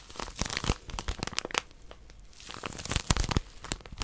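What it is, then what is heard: Plastic-wrapped paper packet. A small white plastic-wrapped paper packet is held in both hands while long nails grip and scratch it. Dense crinkling and crackling scratches come in quick bursts, with sharp bright clicks. The activity quiets briefly midway before building again.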